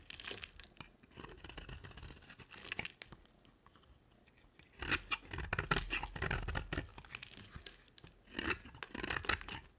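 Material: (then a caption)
Soap. A utility knife blade scrapes and carves a solid pink bar of dry soap with a black glitter coating. Irregular bursts of dry, crackly scraping and crumbly tearing come in clusters, with the loudest, brightest passes around the middle and near the end, separated by quieter pauses.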